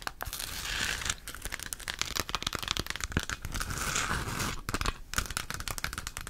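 Long acrylic nails tap and scratch the textured surface of a round, hollow plastic galaxy moon lamp, about 15 cm across, lit pink-purple and held in both hands. The result is a dense, continuous stream of crisp, crinkly scratching with bright hiss, broken by quick, dry clicking taps.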